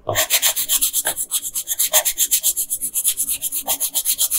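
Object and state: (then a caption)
Colored pencil rubbing on paper. A yellow wooden colored pencil is rubbed in quick back-and-forth strokes over the hair on a flat paper coloring page lying on a table. There are about 31 bright, scratchy strokes at roughly four per second, with a dry, high-pitched paper rasp and almost no low end.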